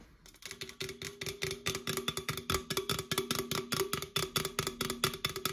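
Long acrylic nails on both hands tap and scratch the printed side of an opened red Coca-Cola aluminum can, its hollow thin metal giving a quick, faint tonal ring. Rapid, irregular clicks and scratchy strokes come in a continuous bright patter with short decays.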